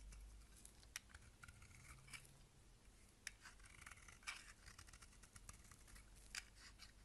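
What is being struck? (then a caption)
Bar of soap scraped with a blade. A box-cutter blade scrapes and shaves the surface of a solid rectangular bar of purple-and-white striped soap held in the hand, cutting off crumbly chips. Soft, dry, bright scraping strokes run throughout, with short crisp ticks standing out over a quiet, low background hum.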